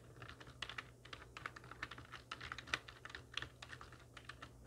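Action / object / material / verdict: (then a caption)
tap / plastic computer keyboard / plastic / none. Long nails and fingertips of both hands type on a full-size black plastic computer keyboard with hollow keys resting on a wooden desk. A quick, uneven run of short, hollow clacks and taps sounds bright and crisp, centered around 2 kHz. Each click dies away almost instantly over a faint low hum.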